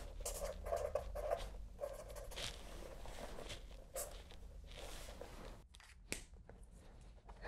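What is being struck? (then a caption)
Spiral-bound paper notebook with felt-tip pen. A felt-tip pen writes on a spiral-bound paper notebook with a cardboard back, making a run of soft, dry scratches and squeaks across the paper over a low steady hum. Near the end the notebook is handled in both hands, giving a few brief crisp rustles and a sharp click.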